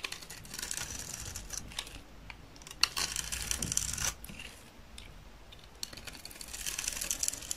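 A utility knife blade scrapes across the face of a solid, dry green soap bar with a red glitter edge, held in the hand, shaving off curls that pile up below. The sound is a dense run of dry, crisp, high scratching and crackling, with a few sharper clicks and a quieter pause in the middle.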